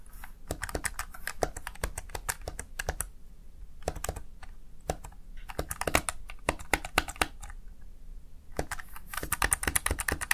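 Fingertips rapidly press the keys of a Razer Tartarus Chroma plastic gaming keypad, producing bursts of sharp, bright clicks. The bursts are separated by short pauses, and each click dies away almost instantly.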